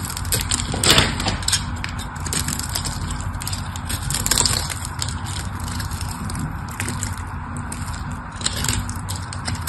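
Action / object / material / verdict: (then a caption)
scrape / bar of soap scored with a metal blade / soap / none. A metal blade scores and cuts the surface of a solid pink bar of soap held in the fingers. Dry, crackly scraping and crunching runs over a steady low rumble, with brighter bursts of scraping around the first second, near the middle and near the end.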